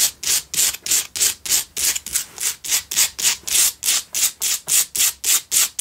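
Fingertips and long nails scratch and rub a cylindrical pink Himalayan salt single candle holder in fast, steady strokes. About 22 bright, hissy scraping bursts follow one another at a brisk, even rhythm, each cutting off quickly with almost no low end.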